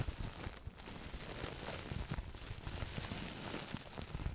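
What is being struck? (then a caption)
Plastic bubble wrap sheet. A large, clear, hollow air-cushion plastic bubble wrap sheet is held in both hands in front of the microphone and crumpled and rubbed with the fingertips and palms. The result is a steady, dense crinkling with soft low thumps and a bright, hissy top, without a clear pause.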